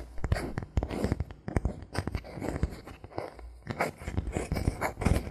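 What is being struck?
Thin bamboo board.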